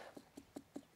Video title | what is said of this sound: How To Harvest Your Vegetable Garden - John & Bob's Garden Update | it's supposed to sound hollow well I can't tell if it's hollow or not hollow